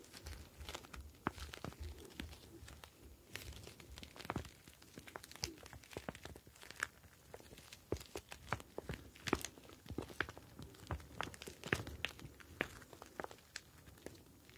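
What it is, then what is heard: Plastic gel bead ice pack. A clear plastic gel bead ice pack filled with blue gel beads is tilted and squeezed with both hands, so the beads slide around inside the pouch. Dense, irregular crinkling and crackling sounds come in rapid bursts of sharp, bright clicks over a soft low rustle. The activity continues steadily throughout the clip.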